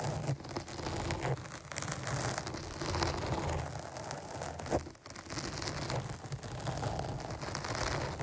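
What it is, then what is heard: Foam microphone windscreen scratched with nails. Long nails scratch a black foam windscreen on a microphone, producing a dense, continuous scratchy rustle with crackling texture. The sound is heavy in low rumble, with brief brighter swipes rising over it and a short dip near the end before the scratching resumes.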